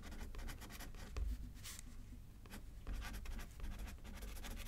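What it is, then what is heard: Pen writing on a paper card. A pen, held in the left hand, writes on a thin paper card resting on a paper pad. Quick, soft scratching strokes come in bursts, with brief pauses between them, over a steady low rumble.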